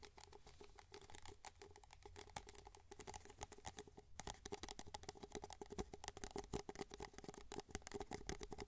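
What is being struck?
Paper cup.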